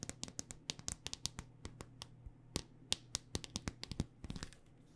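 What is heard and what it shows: Long dark-painted nails tap a handheld smartphone in a solid black rugged hard-plastic case. About two dozen quick, irregular taps sound as sharp, bright clicks that die away almost instantly, over a faint steady low hum.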